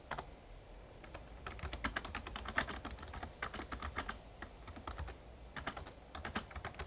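Fingertips type steadily on a Razer Ornata Chroma, a full-size backlit plastic mechamembrane gaming keyboard. Quick, crisp key taps come in bursts with brief pauses, over a faint low hum.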